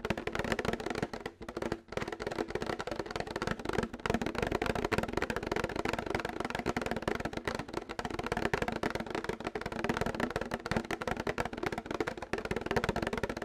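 Fingernails tap rapidly and continuously on a plastic milk jug, making a dense stream of quick, dry, hollow clicks centered around 430 Hz that die away almost instantly. The tapping barely pauses, with only brief gaps near the start.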